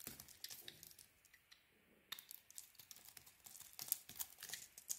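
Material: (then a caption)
Soap. A solid Cleopatra soap bar, mostly cream interior showing, is held in the hand and carved with a metal blade. It makes quiet, bright, crinkly scraping and crumbly crackles with a brief lull near the middle. Sharper flicks return toward the end.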